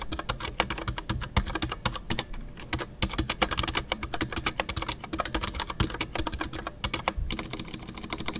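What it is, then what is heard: Mechanical keyboard with PBT plastic keycaps. Fingertips type continuously on a full-size Ducky One 2 mechanical keyboard with a white case, MX Brown switches and custom artisanal PBT plastic keycaps. The result is a rapid, steady stream of short clacks with a solid low thock under each press and bright, crisp tops that die away almost instantly.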